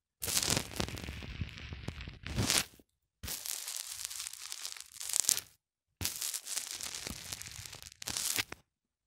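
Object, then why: White polyethylene foam block pressed with a small plastic cylinder. Fingers press and twist a small black plastic cylinder into a white polyethylene foam block, over and over. This makes bright, dense crackling and creaking squeaks. The sound comes in three separate bursts of about two to two and a half seconds each, and each ends in a louder surge before a short silence.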